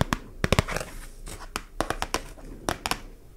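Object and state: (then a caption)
Cardboard label tapped and scratched with nails. Long nails tap and scratch a small, flat, thin yellow printed cardboard label held in one hand. About twelve short, sharp clicks come in uneven bursts, with soft scratchy rustling between them.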